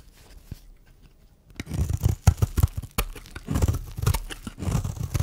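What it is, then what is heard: Dry bar of soap being shaved. A metal blade shaves flakes off a solid, dry, round pink-and-white striped bar of soap held in the hand. After a quiet first second and a half, dense crunchy scraping bursts follow one another with a deep, low-heavy texture and little brightness. Each burst is dry and short with no ring.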